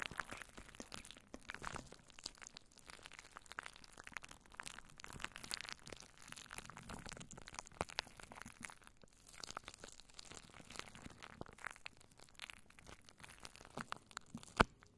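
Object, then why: Plastic cling wrap over a microphone. Long nails scratch and crinkle plastic cling wrap wrapped over a microphone, making a steady, dense stream of soft crackling and rustling with bright, papery highs. The texture stays quiet and even throughout, broken near the end by a single sharp, louder crack.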